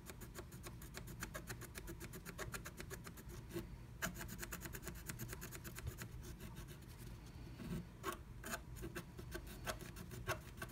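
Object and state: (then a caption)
Scratch art paper being scratched. A wooden stylus scratches flat black scratch art paper inside a diamond-shaped stencil cut-out with repeated strokes. The result is a quiet, steady run of quick, dry raspy scrapes over a low background rumble. A few sharper, louder strokes stand out toward the end.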